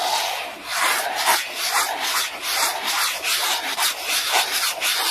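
A hand rubs an orange round textured brush fast and hard across a flat black plastic clear-holder document folder. The result is a continuous, bright, hissy scratching with quick back-and-forth strokes that swell and dip irregularly, centered around 1 kHz with no low end.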